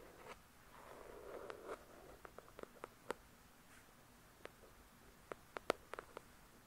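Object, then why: Paperback book, paper with card cover. Long fingernails scratch and tap on the glossy card cover of a paperback copy of the novel "The Shack," a solid paper book. A soft, hissy scratching swells in the first two seconds, then gives way to 12 short, dry clicks spread out in quiet. The taps are bright and crisp with almost no ring.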